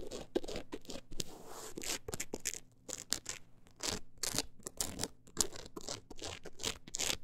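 Long acrylic nails scratch across a closed book's solid, woven-look embossed cover and along its page edges. The result is a run of dry, bright, rasping scratches in quick bursts with short pauses between them, over a faint steady low hum.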